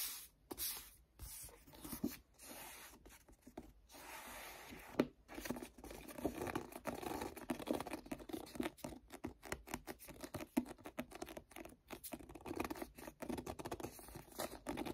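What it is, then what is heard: Paperback book cover. Fingertips tap and rub the card cover of the same paperback book with sticky-finger motions. Quiet, dense tacky crackles, peels and soft taps come in quick bursts broken by brief silences, with most of the sound in the low-mid and middle range and little deep bass. The touches stay close and dry, with no ring after each contact.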